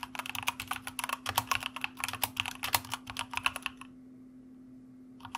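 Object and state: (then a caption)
Mechanical keyboard typing. Two-handed fingertip typing on a white plastic mechanical keyboard with a red backlight produces a rapid run of crisp, bright key clicks for almost four seconds. The typing then stops, leaving a quiet steady low hum, before a couple more clicks come in at the very end.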